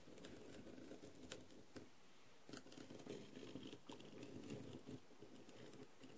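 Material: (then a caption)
Plastic. A wooden skewer held vertically taps and scratches across the rhinestones of a blue plastic rhinestone-covered masquerade mask lying on a tray. It makes a quiet, continuous scratchy patter with sharp, bright little clicks, pausing briefly in the middle before starting again.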